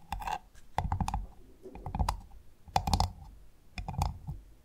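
A large, closed, hand-sized freshwater pearl mussel with a hard, ridged brown shell is tapped and scratched with long painted nails between two microphones. Irregular bursts of sharp clicky taps, each with a dull low thump and a short mid-pitched tick near 790 Hz, are separated by softer scratchy rustling across the shell.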